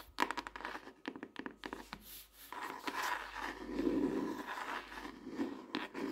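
Long nails tap the colorful printed cover of a closed softcover paper notebook, a solid stack of paper lying flat on a desk. Quick, dry, clicky taps come first, then give way to softer scratching and scraping with a papery midrange tone. There is almost no low end, and each sound dies away almost instantly.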